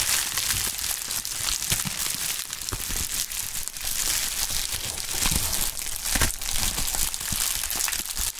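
A pink plastic bubble wrap sheet held in gloved hands is crumpled, then spread out and flexed. Dense, bright crinkling runs throughout at a steady level, broken by short sharp crackles and low thumps of handling.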